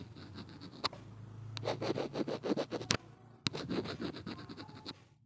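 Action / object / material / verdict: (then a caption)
scrape / small plastic earphone inline mic housing / plastic / none. A gloved hand scratches along the edge and end of a small, hollow black plastic Nokia inline earphone mic on a cable taped to a wooden table, using a blue-tipped tool. The result is quick, rhythmic scraping strokes with a bright rasp, broken by a few sharp clicks. The strokes fade out at the end.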